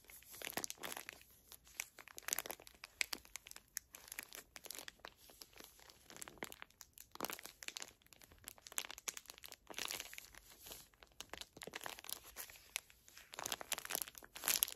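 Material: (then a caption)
Plastic film. Long nails crinkle, squeeze and tap the plastic film wrapper of a small, full pocket pack of facial tissues. The result is dense, quiet, bright crinkling with rapid crisp ticks and short rustling bursts, almost no low end and no ringing.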